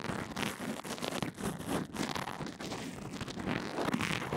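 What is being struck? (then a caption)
Fabric bandage-covered earphone microphone brushed with a rubber bristle brush. A pink rubber mascara spoolie on a black handle rubs and scratches along the length of a fabric band-aid wrapped over an earphone microphone. The result is a dense, continuous stream of soft scraping and crackly brushing strokes that swell and fade, with a muffled low body and occasional brighter rasps.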